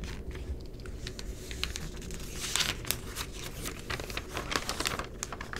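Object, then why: Glossy paper magazine. An open Essence magazine with thin glossy paper pages lies flat on a dark table while fingertips turn and smooth the pages. Crisp crinkling flips and soft rubbing swishes are heard, with bright, sharp paper ticks over a low, steady rumble.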